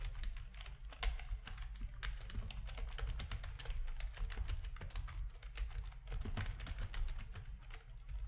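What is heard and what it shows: Fingertips of both hands type steadily on a full-size black plastic RGB-backlit keyboard with a hollow plastic housing, resting on a desk. Quick, closely spaced clicky keystrokes run through the whole clip over a constant low hum.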